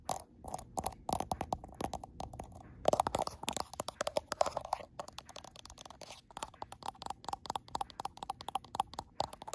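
Long acrylic nails tap and scratch the frosted glass back of a gold iPhone Pro, producing a rapid, irregular stream of short, dry clicks with brief scraping passages. The taps are bright and crisp, ring around a mid pitch near 630 Hz, and die away almost instantly, with little low end.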